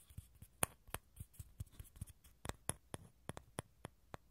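Fingernails tap and scratch the outer shell of a small, hollow dried gourd half held over the mic. A steady series of short, dry clicks is heard, each with a soft low knock and a crisp high tick that dies away almost at once. Faint scratchy rustling fills the gaps between taps.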